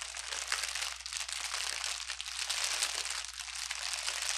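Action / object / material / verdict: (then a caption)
scrape / plastic bubble wrap / plastic / none. A bundle of clear plastic air-bubble wrap with hollow, empty air cells rests on a table and is pressed, crumpled and rubbed with fingertips and palm. It makes a steady, dense, bright crinkling with dry crackles throughout.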